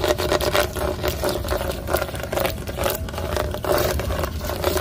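Long blue acrylic nails rapidly scratch and tap across a large, textured red moulded plastic playground seat or disc with raised square studs and a hollow shell. The result is a busy stream of dry scrapes and quick clicks over a hollow, mid-pitched resonance around 600 Hz, with a steady low rumble underneath.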